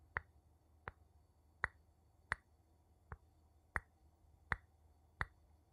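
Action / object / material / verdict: tap / glass object and wooden spoon / glass, wood / none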